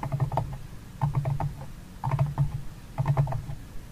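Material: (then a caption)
Cardboard. Fingertips and nails tap and scratch the rim and walls of a medium, empty, open paper-covered cardboard box with a flamingo print and mint-green interior. Four bursts of quick, dull taps arrive about once a second, with low, hollow thumps under light papery clicks. Each tap dies away almost at once.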